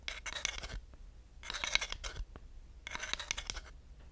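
A long wooden dowel is rubbed and scratched across the grooved surface of a flat, solid wooden slotted hot pad. Three separate bursts of bright, rapid ticking scrapes are heard, with short quiet gaps between them. Each stroke clicks quickly over the slots with almost no ring.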